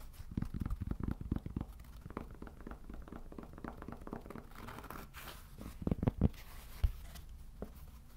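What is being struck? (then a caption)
Cork trivet. Fingertips tap and scratch across the face and then the edge of a round, solid cork trivet about 1 cm thick. The result is a run of soft, dull, low thumps mixed with quiet dry scratching, with a few sharper, louder taps near the end.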